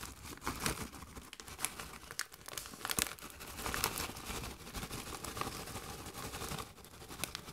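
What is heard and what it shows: A Doritos bag made of metallized plastic film, partly full of chips, is held and squeezed by hand. It crinkles and rustles continuously for about seven and a half seconds, with bright, sharp crackles scattered through a steady papery hiss. The sound stays fairly quiet throughout, with no ring after each crackle.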